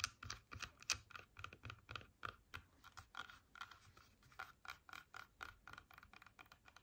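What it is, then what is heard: Apple tapped with fingernails. A whole red apple with a sticker, solid fruit held in both hands, is tapped and scratched with long painted nails. The result is a quiet, steady run of quick, dry, clicky taps with a bright, crisp edge, each dying away almost instantly, mixed with light scratching.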